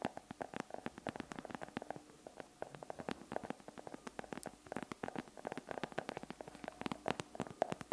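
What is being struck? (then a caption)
Chocolate bar tapped with fingernails. Long acrylic nails tap and scratch rapidly on a flat solid chocolate bar, partly unwrapped with foil at one edge and held in one hand close to the microphone. The result is a quick, uneven stream of sharp, dry clicks with a mid-range tone around 656 Hz and brief bright edges. A soft scratchy rustle runs between the taps.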